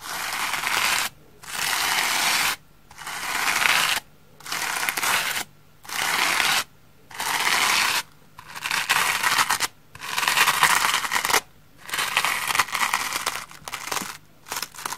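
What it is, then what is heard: Cellulose sponge brushed. A round hair brush with a wooden handle is brushed back and forth over the holey surface of a large, green, solid, flat, porous cellulose sponge resting on a wooden table with small traces of shaving cream. Each stroke makes a bright, hissing scratch, with short silent gaps between strokes at an uneven pace.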